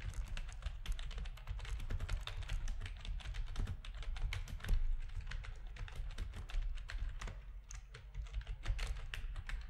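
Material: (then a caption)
Plastic. Fingertips of both hands type steadily on a full-size black plastic RGB-backlit keyboard resting on a desk, its hollow plastic housing giving each keystroke a clacky, slightly hollow tap. The rapid, dense clicks carry bright, sharp edges over a strong low rumble near 59 Hz that holds throughout the clip.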